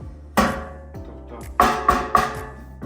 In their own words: Це товста нержавійка, товстий бак. Тобто він не звучить як пластик або щось ненадійне.